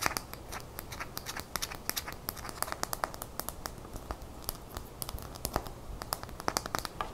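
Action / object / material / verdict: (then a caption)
tap / small glass nail polish bottle with plastic cap / glass / none. Long natural fingernails tap rapidly on a small glass nail polish bottle filled with lime-green polish and topped with a black plastic cap, held up in one hand over a towel, with rings on the fingers that may clink. The taps are quick, dry and bright, with sharp clicks that die away almost instantly over a soft steady hiss. Some taps land louder than others, giving an uneven, continuous pattering.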